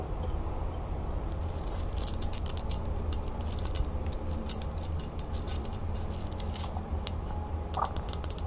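Long nails rapidly tap and scratch a small, hollow gold metal crown lid with red enamel and rhinestones, held in the hand. Quick, bright clicks and light scraping patter over a steady low hum.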